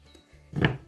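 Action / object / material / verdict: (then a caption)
knock / raw filled dough pastries / dough / frozen. Raw tuna-filled savory pastries, frozen overnight, are tapped and give a single hard, stone-like knock with a short, dull ring. They are frozen solid before thawing.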